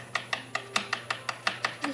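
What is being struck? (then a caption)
Table. A table is tapped by hand during furniture assembly, giving a steady run of about 11 short, dry knocks. Each knock is bright and sharp with very little low end and dies away almost at once.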